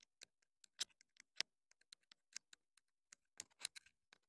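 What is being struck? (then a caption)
Plastic wireless mic transmitter. Long nails tap and click irregularly on the hollow casing of a small black plastic clip-on wireless mini microphone transmitter. The result is quiet, sharp, dry clicks that are bright and high with almost no low end, each stopping instantly with no ring.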